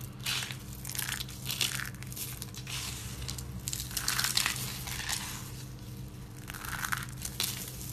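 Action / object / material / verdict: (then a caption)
scrape / soap flakes / soap / none. Hands with lavender nails grab handfuls of thin, brittle, dry pink and white soap chips from a pile and squeeze and crush them in their fists. Dense, bright crunching and crackling comes in repeated swelling bursts over a faint, steady low hum.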